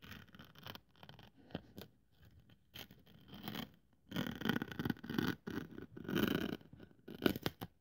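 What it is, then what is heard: Thin polyethylene foam sheet. A craft scalpel blade cuts and scratches through a thin white polyethylene foam sheet resting on a wooden table. Irregular dry scraping and tearing strokes come in bursts, quiet at first and then louder and denser in the second half, with a few short sharp snags near the end.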